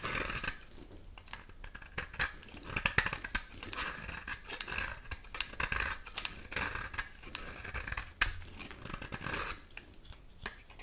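A metal utility knife blade scrapes a dry, solid, rectangular olive-green bar of soap held in the hand, shaving off powdery flakes. A steady run of dry, crisp, bright scraping and rasping sounds, with sharper scratches and clicks standing out here and there.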